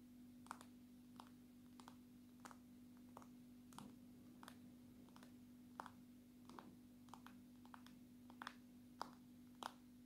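A long natural nail taps the side and glass back of a dark red and black smartphone, held edge-on. It makes a steady, unhurried series of short, dry clicks with a bright, crisp edge that stop at once without ringing, over a faint constant low hum.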